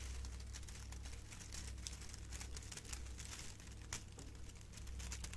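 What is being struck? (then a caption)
Metallic foil gift bow. A hand-sized, hollow and light silver metallic foil gift bow with curled ribbon strands is held in one hand and crinkled and squeezed with long painted nails and fingertips. It makes a steady, dense crinkling with bright, crisp crackles and a few sharper snaps. A constant low hum runs underneath.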